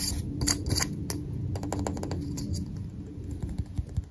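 A handheld magnifying glass with a round glass lens set in a black plastic rim and handle is tapped rapidly with fingertips and nails. The result is a quick, uneven run of light, bright clicks and ticks over a steady low rumble, with short sharp taps that die away almost at once.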